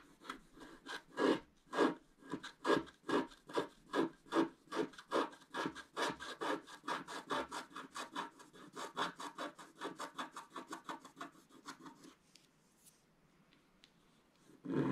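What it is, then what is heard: Wax-coated scratch-art paper being scraped. A wooden stylus scrapes the black coating of a flat, wax-coated scratch-art paper sheet in fast back-and-forth strokes while one hand holds the sheet steady. Each stroke is a short, dry, rasping scratch, repeating in a quick, uneven rhythm for about twelve seconds. The strokes then stop, leaving near silence before one louder scrape at the very end.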